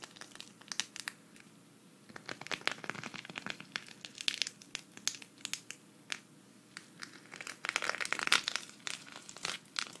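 Long red fingernails scratch a flat, thin, hand-sized green sequin cactus patch held at the right, making bright, crinkly rasps and quick, dry clicks. The scratching comes in uneven bursts with short pauses, and it swells louder near the middle and again toward the end.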